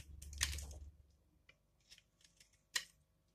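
A metal blade scrapes and shaves along the edge of a solid, dry, palm-sized yellow laundry soap bar held in the left hand, leaving curls of soap piling up below. A long, bright, crackling scrape comes first, then a few faint dry ticks, and finally one more sharp, brittle scrape.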